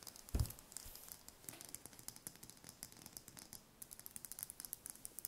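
A small whole brown hen's egg, held in the hands close up, is tapped and scratched with long fingernails. A low thump near the start gives way to a rapid series of light, dry clicks and bright scratching on the shell, each tap dying out almost instantly.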